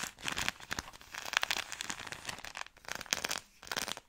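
Long nails scratch and crinkle the soft plastic-film wrapper of a product pack, held close. Dense, bright crackling and crinkling bursts with almost no low end come in uneven clusters, with brief quieter gaps between them.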